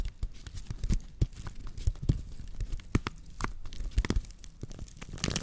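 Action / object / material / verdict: scrape / woven straw plate / straw / none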